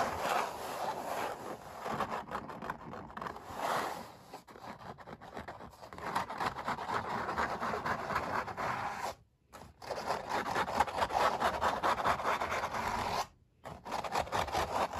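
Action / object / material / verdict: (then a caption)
scrape / stretched oil-painted canvas / painted canvas / none. Fingernails scratch and rub across the textured paint surface of a stretched, painted oil canvas, making dense, rapid scraping strokes with a papery rasp centered in the mids. The scratching runs nearly continuously, with two brief silent pauses before it resumes.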